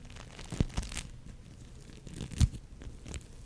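An orange, fist-sized lump of foam bead clay (floam), made of polystyrene foam beads bound in soft, solid slime, is squeezed, pulled and scratched with long nails and fingertips close to the mic. The result is quiet, low, crinkly crunching and tearing sounds, with faint bright ticks and two sharper squelching pops standing out.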